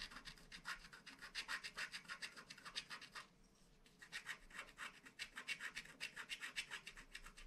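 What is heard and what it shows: A wooden stylus scratches the outline of a planet at the bottom of a flat, black wax-coated paper scratch art card. It makes a quick, steady run of short, bright rasping strokes. The strokes pause briefly just past three seconds, then resume at the same pace.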